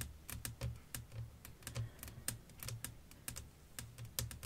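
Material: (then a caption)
Glass. Long nails tap in a rapid, uneven run across a flat, clear glass sheet laid over lace fabric. Each tap is a short, bright click that dies away almost at once. A low, steady hum sits underneath.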